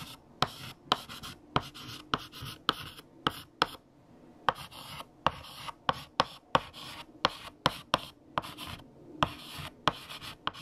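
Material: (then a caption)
Chalk. A hand writes with yellow chalk on a large, flat black chalkboard. The chalk makes sharp taps, about 20 in all, with bright, gritty scratching strokes between them across the board.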